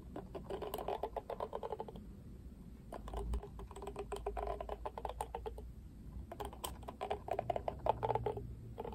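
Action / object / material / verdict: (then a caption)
scrape / plastic cushion hairbrush with dense bristles / plastic / none. Fingertips strum and scratch the dense black, pink-tipped bristles of a pink-rimmed oval plastic cushion hairbrush. Rapid, dry ticking clicks come in three bursts, with short pauses between them. The clicks sit mostly in the midrange, over a faint low rumble.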